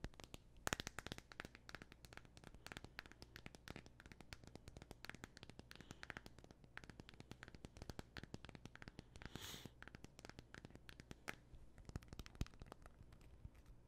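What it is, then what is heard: Glass-backed smartphone. Fingernails scratch and tap rapidly on the glass back of a thin, solid black Android phone held in both hands. Dense, sharp, bright clicks and brief scratches overlap a steady low hum at a quiet level, with one brighter scratching burst near the end.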